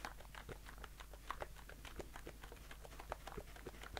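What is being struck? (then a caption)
Aluminium aerosol can. A blue aluminium aerosol shaving foam can, held in one hand, is tapped rapidly with fingertips and short nails. The result is a quick, quiet patter of light, short clicks with a faint metallic ring over a steady low hum.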